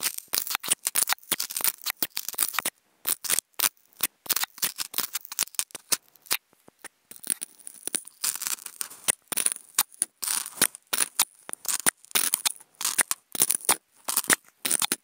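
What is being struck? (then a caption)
Polystyrene foam food container lid. Wooden toothpicks scratch the top of a white polystyrene foam food container up close. The sound is rapid bursts of dry, bright, squeaky scraping with no low end, separated by brief silent gaps.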